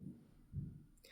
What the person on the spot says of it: when you shake it you can hear that ball rattling up and down so you can tell that you're getting good mixing of the paint